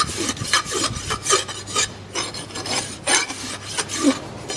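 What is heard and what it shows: A horse hoof of solid keratin horn with a steel shoe rests on a stand and is filed with a long steel rasp held in both hands. Repeated rasping strokes give bright, gritty scrapes with little low end, each stroke swelling and fading quickly.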